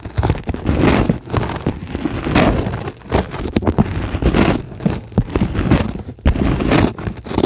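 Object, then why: Polyethylene foam sheet. A flat, solid white closed-cell polyethylene foam sheet is scratched with long glittery acrylic nails on both hands. The result is a dense, rough, crackling scratch in repeated swelling bursts, mostly low and muffled with little brightness. Each stroke stops dead with no ring.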